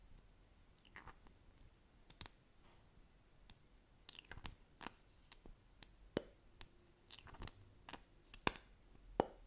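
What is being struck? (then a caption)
Plastic lip gloss tube. A small, slim plastic lip gloss tube, apparently filled and held horizontally, is tapped quickly with long acrylic nails. About 18 sharp, dry, bright clicks come in an irregular rhythm and die away almost instantly. The tapping stays quiet and close throughout.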